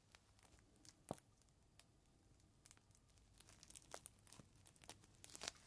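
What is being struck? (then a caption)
Clear plastic bag holding a microfiber cloth. A folded green microfiber cloth in a clear plastic bag is squeezed between both hands while fingertips crumple and crinkle the plastic. Quiet, irregular bright crackles and short sharp snaps follow one another with no ring, growing denser and louder toward the end.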